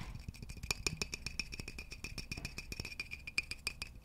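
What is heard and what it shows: Fingertips tap a hollow, polished wooden vase close to the microphone, then tap around its neck while it is held up. The result is a quick, uneven series of short, dry knocks with a bright ringing tone near 2.4 kHz over a soft low thump. Each tap dies away almost instantly.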